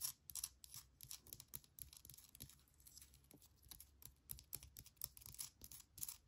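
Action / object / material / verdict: scrape / small granite rock chunk / granite / none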